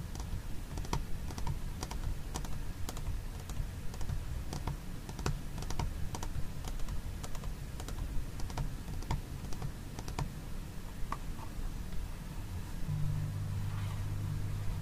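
Fingernails tap and scratch the side wall of a small, hollow white plastic food container with its lid on, then move to the embossed lid. Quick, dry clicks that stop instantly ring out over a steady low hum. Near the end, the taps give way to a denser, continuous scratching.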